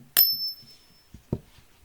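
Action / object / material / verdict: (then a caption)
flick / silver bullion coin / silver / real. A genuine precious-metal Philharmonic bullion coin is struck in a ping test and gives a bright, high ring with a second tone, the upper tone fading within about half a second and the lower one lingering close to a second. Two softer, duller knocks follow about 1.1 seconds later, and the clear, sustained ring marks the coin as real.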